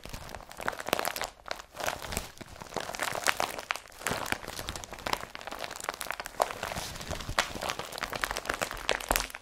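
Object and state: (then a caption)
Woven polypropylene carrier bag. An empty blue IKEA BRATTBY woven polypropylene carrier bag is gripped, crumpled and then rubbed by hand. It gives a steady run of dry, bright crinkling and crunching bursts with little low end, each dying away almost instantly.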